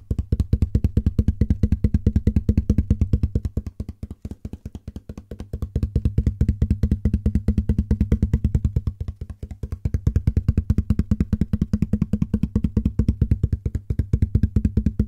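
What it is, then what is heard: Empty cardboard box, hollow. A medium, open, hollow and empty corrugated cardboard shipping box with printed labels is held near the microphone and tapped rapidly with fingertips and palm. It makes a fast, steady stream of short, dull, low thumps with a hollow boom. The tapping softens briefly twice before returning to full strength.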